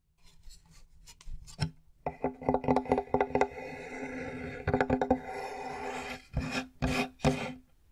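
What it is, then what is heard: Plywood board scratched. A large, flat, light plywood board with visible knots is held upright and scratched and rubbed across its surface with fingernails. Close, dry rasping and scraping strokes come in uneven bursts with short taps, and the wood gives a faint hollow tone beneath the scratches.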